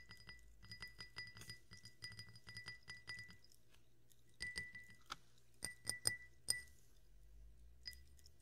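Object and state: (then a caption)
Drinking glass tapped. A drinking glass with carbonated water is tapped repeatedly, giving bright, short clinks with a clear ringing tone near 2 kHz. A quick, steady run of light taps over the first few seconds is followed by a pause, then sparser, louder taps and a final soft one. A low, steady hum sits underneath throughout.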